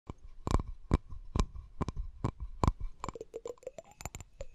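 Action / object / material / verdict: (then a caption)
tap / glass object / glass / none. A glass object is tapped in an irregular series of short, quick taps, each a dull low knock with a bright click on top. The later taps ring with a brief higher-pitched ping, and a faint steady tone sits underneath throughout.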